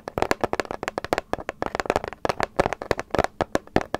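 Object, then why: Paper gift bag. Long acrylic nails and fingertips tap and scratch a small, hollow, apparently empty light grey paper gift bag with dark round prints and a rope handle, close to the microphone. A rapid, uneven run of short, crisp papery clicks and taps with brief scratchy rustles follows, each dying away almost instantly.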